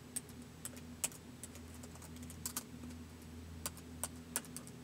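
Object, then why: Plastic laptop keyboard keys. Fingertips slowly tap the keys of a white plastic laptop keyboard, making sparse, short, bright clicks spread unevenly across the clip. A steady low hum sits underneath throughout.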